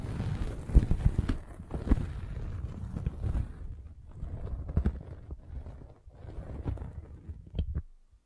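A metal-spiked derma roller is rolled across a red velvet bag covering a microphone. It makes a deep, muffled rumbling with soft, irregular thumps and faint scratchy brushing, mostly low in pitch. The rolling fades out at the end.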